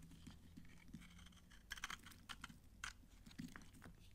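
A palm-sized solid bar of old, dry green soap is held in one hand while a red-handled utility knife blade scrapes and carves shavings off it. Crisp, crunchy scraping bursts with bright crackle come over a low steady hum, with several sharper crunches standing out near the middle.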